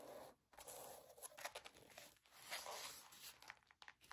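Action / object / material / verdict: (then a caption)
scrape / sequin and glitter fabric headband / sequins, glitter / none. Long nails scratch the glitter ears and sequin bow of a rose-gold mouse-ear headband, which ends up tilted up. The result is a quiet, bright, dry rasping and crinkling in uneven bursts, with short pauses near the start and middle and almost no low end.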